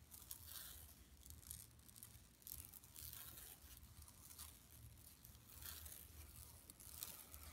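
Long nails scratch across an empty, flat yellow woven plastic mesh tote bag lying on carpet. The result is a quiet, continuous run of dry, bright scratching and crinkling strokes, with a steady low rumble underneath.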